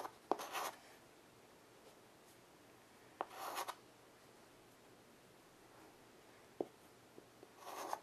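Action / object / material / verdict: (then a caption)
scrape / chalk stick on a small wood-framed chalkboard / chalk, slate board / none. A child's hand draws a chalk stick across a small wood-framed blackboard resting on carpet. Three brief, bright scratching strokes are heard, each starting with a sharp tap, with a few isolated ticks between them. Quiet pauses separate the strokes.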